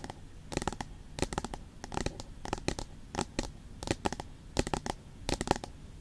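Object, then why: Aluminium tablet back. Long pointed nails rapidly tap and scratch the flat aluminium back of an iPad with the Apple logo. Clusters of short, dry clicks come in quick bursts with almost no ring, separated by a soft hiss and light scratching.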